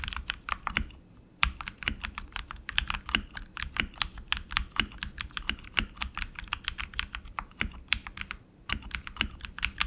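Both hands type continuously with their fingertips on a tenkeyless RGB mechanical keyboard with tactile switches and plastic keycaps on an aluminum frame. About 50 sharp, bright clicks with very short decay come in rapid runs, with brief pauses near the start and end.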